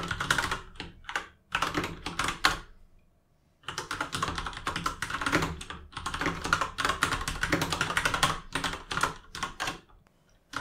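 Fingertips of both hands type quickly on a full-size RGB mechanical keyboard with plastic keycaps, producing rapid, clacky key taps with a bright, hollow plastic click centered around 1 kHz. The taps come in dense bursts with a short pause near the three-second mark before the fast typing resumes.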